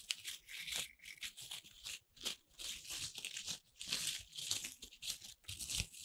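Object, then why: Corn starch foam playcorn pieces. A handful of small, soft corn starch foam playcorn pieces held in the palms are squeezed, crushed and rubbed by fingertips with long red nails, and a few are pressed into a lump. The result is a run of bright, squeaky, crinkling and tearing rustles in short uneven bursts with quick gaps, almost all high-pitched with very little low end.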